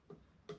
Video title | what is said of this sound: So, you want to be a Coyote Hunter. Part 1, Tripods | if you do happen to tap it it's more of a solid thud than a high ping noise